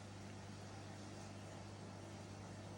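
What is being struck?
Nothing is struck.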